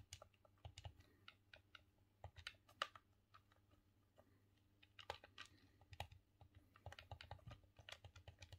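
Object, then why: Plastic game controller. A green, hollow plastic Nintendo 64 controller is held in both hands while the thumbs repeatedly press and click its buttons, D-pad and analog stick. The result is a quiet, irregular stream of short, sharp plastic clicks and taps with bright edges, over a steady low hum.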